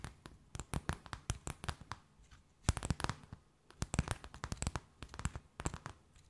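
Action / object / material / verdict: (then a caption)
scrape / thin plastic bag / plastic film / none. A thin, empty, clear transparent plastic bag held between both hands is tapped, scratched and crinkled with long nails. Quick, dry crackling taps come in clustered bursts separated by short pauses, each with a soft low thump and almost no ring.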